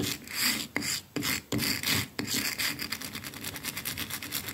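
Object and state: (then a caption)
Painted plaster wall. A wooden-backed hairbrush with stiff dark bristles is held by hand and scrubbed back and forth against a flat, solid white painted plaster wall with a rough, pitted texture. Bright, raspy scratching swells and breaks in a few longer strokes with short gaps, then settles into quicker, steady back-and-forth rubbing.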